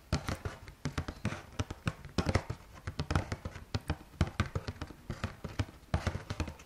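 Fingertips and nails tap and scratch a Carrefour Bio cardboard box of rice cakes. A rapid, uneven run of dull, low thuds dies away almost instantly, with faint scratchy rustling between the taps.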